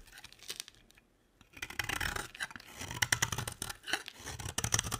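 A utility knife blade scrapes fine shavings off the edge of a solid beige square bar of dry soap held in the hand. Quick, dry, bright scraping strokes crackle in a rapid, uneven series, with a brief quiet pause near the start before the scraping resumes more steadily.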